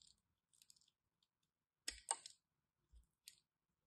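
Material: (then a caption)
Soap. A small metal blade cuts and scrapes the surface of a solid, hand-sized white bar of soap held in one hand with long red nails, shaving off flakes. Eight quiet, bright, crisp scraping clicks are heard, with the loudest, longest shave near the middle. Each one ends almost at once.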